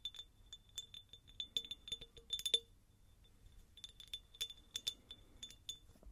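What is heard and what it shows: Light tapping on a textured, pineapple-shaped glass jar produces a quick series of bright, short glassy clinks with a high ring around 3.5 kHz. The clinks stop briefly near the middle, then resume in an uneven rhythm.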